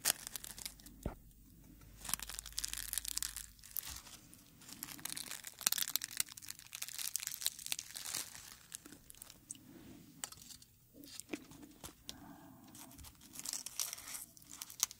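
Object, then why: Dried rose flower head. A dried dark red rose head is held in fingers and its petals are rubbed and crinkled close to the mic, giving a steady run of dry, bright crackling and rustling. The brittle crunches come in quick, dense bursts with brief quieter gaps, mostly high and crisp with very little low end.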